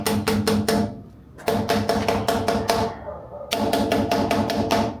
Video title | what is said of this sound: Delorean Ferrari com escapamento brasileiro para ficar com som de F1! Agora é o mais top do mundo! | É igualzinho, os 4 Não tem diferença nenhuma